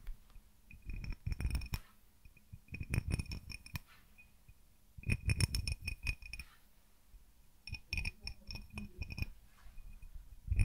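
Fingertips and nails tap the outside of a small, empty, hollow, clear cut-crystal tumbler with a diamond pattern, held in one hand. The tapping comes in four bursts of quick, light taps. Each tap is a soft low thud with a short, bright glassy clink that dies away almost at once, and the bursts are separated by quiet pauses.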